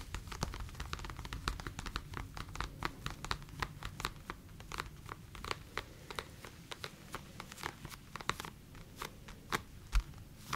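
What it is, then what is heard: Faux leather boxing gear. A black, hand-sized, padded faux leather TKO-branded piece of boxing gear (a glove or headgear) is held in both hands near the microphones while its surface is scratched and rubbed with long nails and fingertips. Quick, bright, crackling scratch clicks come one after another, over a steady low rumble, with each click dying away almost instantly.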